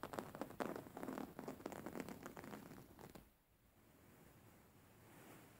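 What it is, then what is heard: Embroidered cotton cushion. Fingernails scratch and rub a white embroidered cotton cushion with flower embroidery, held upright. Quick, soft scratchy rustling bursts repeat for about three seconds, then give way to a faint, quiet hiss.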